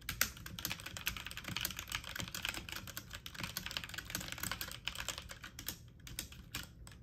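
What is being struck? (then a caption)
Plastic mechanical computer keyboard. Fingertips and medium-length nails type fast on a full-size backlit mechanical computer keyboard with plastic keycaps. A dense, steady stream of sharp, bright clicks and clacks rattles on, each tap dying away almost at once over a faint low rumble.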